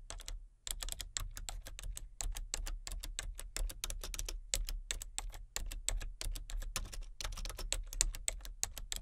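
Fingertips with long nails tap steadily on a full-size, hollow-bodied plastic computer keyboard with color-changing backlit keys, one hand on the letter keys and one on the number pad. The result is a fast, continuous stream of short, dry, bright clicks with no talking, over a steady low hum.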